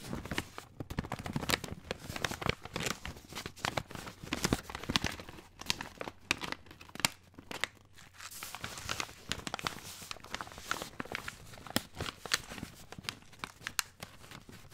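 Fingertips scratch, rub and crinkle a tall brown kraft paper bag with printed text and a folded top that appears filled. A dense, continuous stream of bright, dry crackles and papery rustles is heard, with sharper crunches and tearing-like scrapes standing out.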